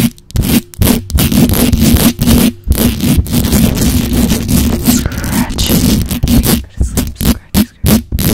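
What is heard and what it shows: Long acrylic nails scratch and tap fast on the hollow metal mesh grille of a black microphone. The result is rapid bursts of rough, boomy scraping with heavy low-end rumble and brief silent gaps between them.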